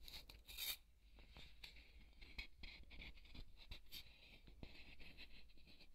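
A thin wooden skewer scratches across a large white solid polystyrene foam ball. The result is a quiet stream of dry, bright scratching and crunching strokes with squeaky highs, plus a few sharper scrapes.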